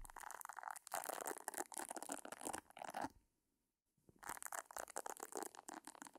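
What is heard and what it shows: Long nails scratch the round nubbed head of a pink silicone facial cleansing brush held at the right side of a microphone, making dense, crinkly, bright scratching. The scratching stops for about a second of near silence, then resumes with the same rapid texture.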